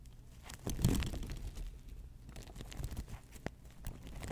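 An open folding hand fan with sequined fabric and a lace-patterned plastic frame is held in front of a microphone while fingers and long nails scratch and rub it. A soft, continuous crinkling and scratching is heard, swelling into a louder burst near the one-second mark before settling into quieter, uneven rustling with a few sharp ticks.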